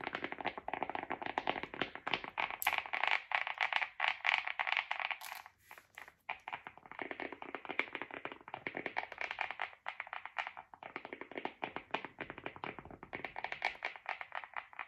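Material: Polyurethane.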